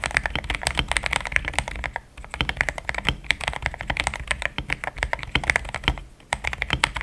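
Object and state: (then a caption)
Mechanical keyboard with plastic keycaps. Fast fingertip typing on a compact pink-cased mechanical keyboard with solid, thick cream XDA plastic keycaps. It makes a dense stream of short, bright clacks with a little low thump beneath, broken by brief pauses around two and six seconds.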